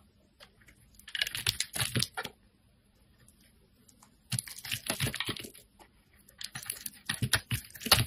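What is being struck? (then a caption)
Bar of soap cut with a blade. A metal craft blade shaves thin curling slices from a solid lavender rectangular bar of soap held in the hand and scrapes its surface. Three bursts of dense, crisp scraping and shaving are heard, bright and rasping, separated by near-silent pauses.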